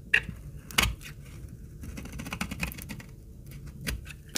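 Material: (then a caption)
Soap. A utility-knife blade shaves small curls off the edge of an old, solid, dark brown, dry laundry soap bar held in the hand. Sharp, bright scraping crackles stand out in the first second and again near the end, with softer scratching between them.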